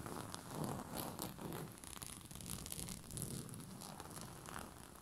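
A white cotton bed sheet with a purple rose print, bunched over a soft padded surface, is scratched and rubbed with the short fingernails and fingertips of both hands. The result is a continuous, soft, scratchy rustling with a muffled low body and faint bright crackles, swelling and easing gently throughout.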